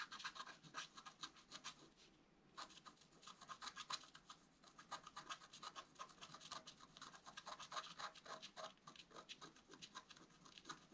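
A wooden stylus scratches the black coating off a flat scratch art card with a metallic layer beneath, the card lying on a table and held in place by the other hand. Rapid, dry, bright scratching strokes repeat in quick bursts with a brief pause near the two-second mark, with almost no low end.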